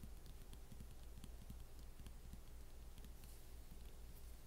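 Long painted acrylic fingernail tips of both hands tap a galloping rhythm across the lid of a closed MacBook in a mint-green matte plastic snap-on hard cover, a thin plastic shell over a solid device, resting on a wooden table. The taps are quiet, fast and unevenly spaced, giving dull, short clicks with faint bright ticks over a steady low rumble.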